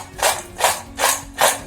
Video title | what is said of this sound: How to make Crispy tasty Kurkure | कितना आवाज कर रहा है, मतलब ये बहुत ही अच्छे से पक गया है